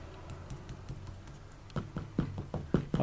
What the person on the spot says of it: this has got the sound-deadening material on it if I tap it see the difference or hear the difference